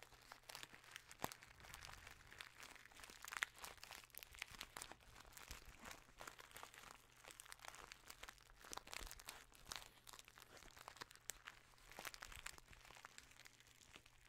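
A small brown kraft paper bag with a white label, apparently filled, likely with tea, is held in both hands and crinkled and squeezed with the fingertips close to the microphone. Dense, quiet, bright crackles and crunches of paper come in rapid uneven bursts over a faint steady low hum throughout.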